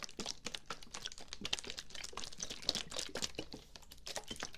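Fingertips and nails tap and scratch the sides of a medium dark brown plastic bottle with a white cap, likely filled with liquid, held sideways close to the mic. The result is a quick, dense run of short, dry clicks and crinkly scratches that are bright and crisp, with faint low thumps underneath.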